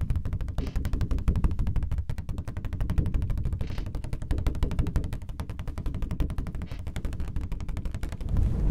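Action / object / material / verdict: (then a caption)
tap / thin plastic folder / plastic / none. A thin, flat, red translucent plastic sheet or folder about A5 in size is held up in both hands while fingertips and nails tap it rapidly. The result is a dense, uneven flurry of short, dull clicks with a heavy low body and little brightness, continuing steadily for the whole clip.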